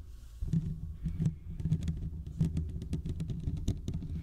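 Fingertips of both hands scratch the hollow metal mesh grille of a large condenser microphone. The result is a dense, continuous patter of scratchy rubbing with soft, low, thumpy rumbles. Brief bright ticks flicker through the texture.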